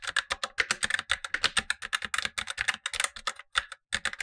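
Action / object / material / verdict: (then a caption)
tap / plastic mechanical keyboard / plastic / none. Blue-gloved fingertips type on a Razer BlackWidow Lite, a tenkeyless mechanical keyboard with tactile switches and black plastic keycaps on a light frame, the upper of two keyboards while the lower one sits untouched. About 30 quick, bright, clacky keystrokes follow in a steady rush, each snapping short and dry, with one brief pause near the end before the typing resumes.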